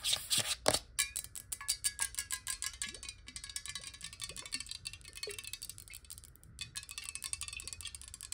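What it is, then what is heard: Glass bottle with water. Long nails tap rapidly and irregularly on a clear glass water bottle held on its side with water inside. The quick, bright clicks carry a faint glassy ring that dies away almost at once, with a few louder taps at the start.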